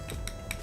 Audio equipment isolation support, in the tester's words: เสียงมันมีความกังวามีความหนักแน่นครับมันไม่กิ๊งนะสังเกตแต่มันเป็นความแน่น